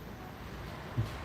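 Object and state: Nothing is struck.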